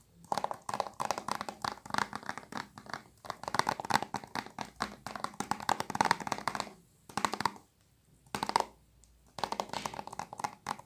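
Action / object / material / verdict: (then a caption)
tap / thin plastic game case / plastic / none. A thin, hollow plastic PS3 game case for GTA V with a printed cover is held in both hands and tapped and scratched with long nails. Quick bursts of dry clicks and scratchy rasps are heard, centered in the mids with a bright edge. They come in clusters separated by brief quiet pauses.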